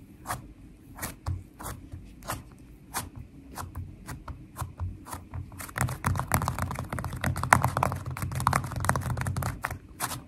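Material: Slime.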